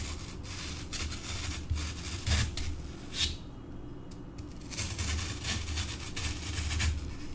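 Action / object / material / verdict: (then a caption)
tap / floral foam block / floral foam / none. A thin metal pointed tool held in the fingers repeatedly pokes into solid green floral foam blocks, leaving small holes. Soft, scratchy crunches and brief bright bursts ride over a steady low rumble.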